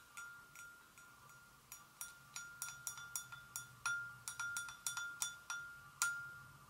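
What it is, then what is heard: Porcelain gravy boat. A porcelain gravy boat is gently tapped in an irregular series of about eighteen clinks. Each clink rings with a clear tone near 1.4 kHz and bright overtones, then fades quickly under a faint low hum.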